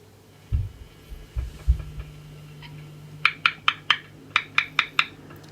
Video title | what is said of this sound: 003_【修理どうでしょう】ダンカンP.U セス・ラバーモデル(SH-55) ピックアップカバーとピックアップ本体との間に・・・・・・！？ | I also checked the other PU on the neck side, and it was waxed after all